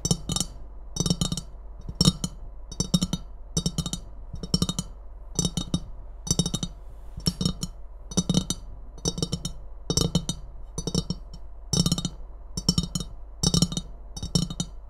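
Long nails tap and scratch the red wavy rim, handle and sides of an empty ceramic Christmas mug. Short bursts of quick, dry clicks come roughly every second, each with a bright, crisp top and a soft low knock underneath that dies away almost at once. A faint steady low hum runs beneath the whole clip.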